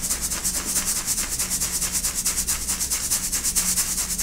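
Pastel chunks of baked baking soda are shaken by hand in a stainless steel mesh sieve, rattling against the mesh as fine powder falls through. The result is a steady, bright, sandy rustle that pulses in quick, fairly even strokes, with a faint low hum underneath.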